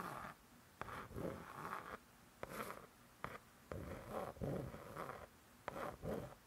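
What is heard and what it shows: Long nails tap and scratch across the laminated cardboard cover of a closed spiral-bound hardcover cookbook. Sharp, crisp taps alternate with soft, rasping scratch strokes that swell and fade in a slow, gentle rhythm.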